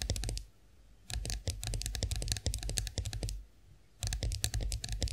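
Long acrylic nails tap rapidly on the smooth handle of an upright chrome-finished face roller, producing sharp, bright, dry clicks that stop almost instantly. The tapping comes in three quick flurries separated by brief pauses, over a steady low hum.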